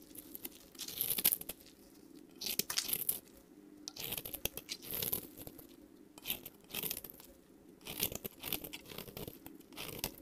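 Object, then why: Bar of soap shaved with a metal blade. A solid, semi-translucent light green bar of soap, about hand-sized, is held in one hand and shaved with a long metal utility-knife blade. Bursts of bright, crisp crunching and scraping come in uneven strokes as fine shavings peel off.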